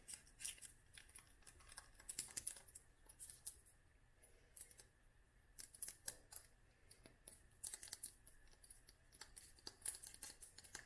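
Long nails tap on a small clear glass dropper bottle filled with oil and dried flowers. Quiet, bright, clicky taps come in quick clusters with short pauses between them, each tap dying away almost at once.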